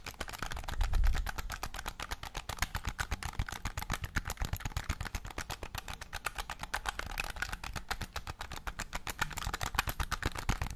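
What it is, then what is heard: Plastic game controller. Painted fingernails rapidly tap and scratch the top edge and shell of a hollow, hand-sized black plastic game controller held close to the mic. The result is a dense, fast run of short, dry clicks with a low thump underneath and some bright scratchy texture, with a louder swell near the start.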